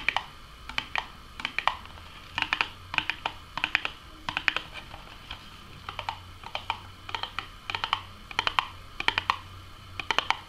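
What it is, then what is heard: Cardboard food box tapped with nails. A small, hollow, closed Burger King Nuggets box made of printed cardboard is tapped with long nails and fingertips on its front and top edge. Quick, crisp, bright clicks come in irregular bursts of rapid taps, each dying away almost instantly, with a tone around 2.4 kHz over a faint low hum.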